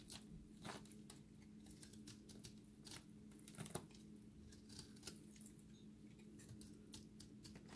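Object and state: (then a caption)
Dry recycled soap ball crumbling. A cut-open, solid, dry recycled soap ball held in the hand is scraped with a utility blade, so the soap crumbles. Quiet, dense crackly scrapes and bright crunchy ticks come through, with a few sharper crunches standing out over a steady low hum.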